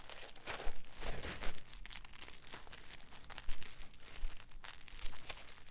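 Two halves of a solid green polyethylene packing foam block, split apart, are pressed and rubbed together by fingers and thumbs. They make an irregular, creaky crunching with bright squeaks and crackles over a low rumble. The sound swells into louder bursts early on and again near the end.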